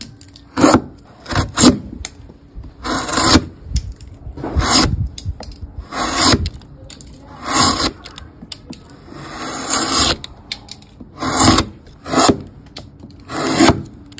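A steel chisel, held against it by hand, pares and cuts down the sides of a solid, pale, hand-sized softwood block with a Kirby outline drawn on top, curling off shavings. Short, crisp scraping and shaving strokes come in repeated bursts, each a bright, airy rasp that stops quickly, with quiet pauses between cuts.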